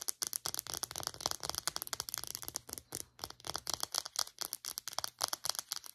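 Long nails tap rapidly on a small white plastic Secret deodorant stick, striking both the casing and its clear cap. The result is a quick, uneven run of dozens of sharp, bright plastic clicks that die away almost instantly, with very little low end.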